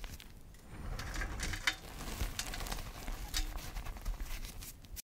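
Both hands press, squeeze and crumble a large mound of mostly crushed pale yellow gym chalk powder with small crumbs on a dark tray. A steady, soft crunching and crackling is heard, with bright dry crackles over a muffled low rustle as the loose chalk breaks apart.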